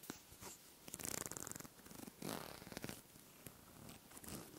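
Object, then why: Small wooden comb. Long manicured nails run and scratch across the teeth of a small, light, solid wooden comb held close to the mic. The result is a quiet, zipper-like rasp of rapid clicking strokes, with brighter bursts near one second and again around two and a quarter seconds.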